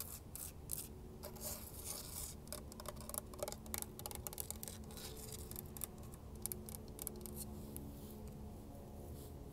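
Long acrylic nails and fingertips tap and scratch the rough surface of a large, solid cast-concrete frog statue with flaking white paint, sitting outdoors on mulch. Quiet, rapid, dry clicks and scratchy rasps come in irregular bursts over a steady low hum.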